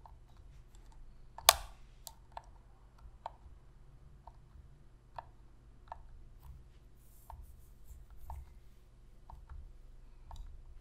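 Long fingernails tap and scratch the hollow plastic shell of a black PlayStation controller and press its d-pad. Quiet, dry clicks and taps are spread through the clip, with one sharp, louder tap near the start and a brief bright scratching later on. Each sound stops almost instantly over a low, steady hum.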